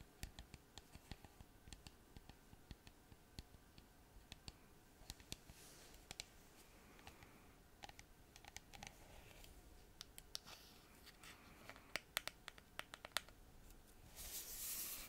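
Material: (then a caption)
Plastic. Long fingernails tap and click on a small white plastic bottle with a cap and a paper label, apparently full, striking both the bottle and the cap. Quiet, sharp, bright clicks come in an irregular stream with no ring, ending in a short, brighter scratchy rustle.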